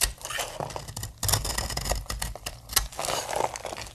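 A utility knife blade shaves and scrapes flakes from the edge of a palm-sized, solid pink bar of dry soap held in one hand, making dry, crisp, bright scraping and crumbly crackling sounds with short sharp bursts. Fingers with long painted nails press the flakes, and a pile of pink soap shavings builds up on the table.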